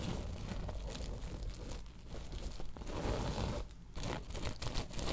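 Long nails scratch and tap a woven tapestry bolster pillow, switching between fast and slow strokes. The result is a steady, dense, rough rustling and crinkling texture, heavy in the low end with a faint bright hiss. It has short quieter dips near two seconds and just before four seconds.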